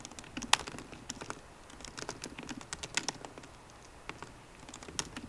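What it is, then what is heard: Laptop keyboard with plastic keys. Both hands tap rapidly with fingertips and short painted nails on the low-profile black plastic keyboard of a 13-inch MacBook Pro, its grey aluminium body resting on a wooden desk. About 21 quick, dry key clicks and patters ring out, bright and short with almost no low end, a few louder sharp taps standing out.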